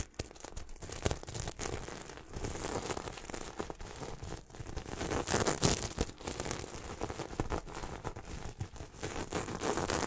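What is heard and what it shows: Fingertips rub and brush back and forth across a medium-size soft throw pillow covered in red and silver flip sequins, held close beside the microphone. This makes a dense, irregular crinkling and scratchy rustle with bright, hissy edges. Small swells and sharp clicky flicks rise out of a steady, close texture.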